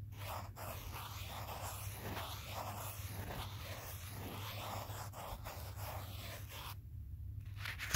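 A pen tip held in the fingertips traces and taps the back of a small, solid smartphone in a teal plastic case, with the phone itself doing the recording. Soft, scratchy tracing strokes run over a steady low hum, dropping out briefly near the seven-second mark before a sharper tap lands at the very end.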